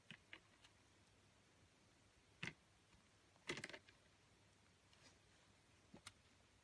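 A metal utility blade carves a green oval bar of soap, peeling off thin green curls. Quiet, crisp, bright scraping crackles come in short, irregular bursts, with faint ticks at the start and sharper clusters near the middle and end.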